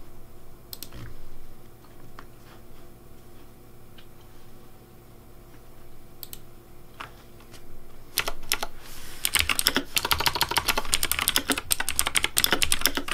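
Fingertips tap the keys of a pink plastic Razer DeathAdder V3 Pink mechanical keyboard at a slower pace. Sparse, sharp, bright clicks over a faint steady hum give way after about eight seconds to a denser run of crisp, quickly decaying key clacks.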